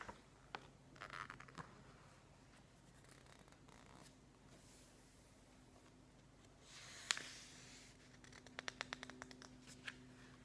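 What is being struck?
Glossy paper magazine.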